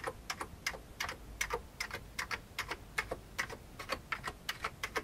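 Fingertips type on an old beige plastic computer keyboard, pressing keys including the space bar. About 27 quick, bright plastic clicks come in an uneven rhythm, each dying away almost at once over a faint low background hiss.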